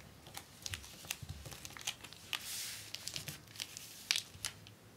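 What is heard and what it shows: Both hands with long nails rub, press and tap along the fold of a long, flat, folded strip of clear acetate book-cover film with a paper backing lying on a desk. The result is a quiet run of sharp, bright plastic crinkles and clicks, with a brief swishing rub in the middle and very little low end.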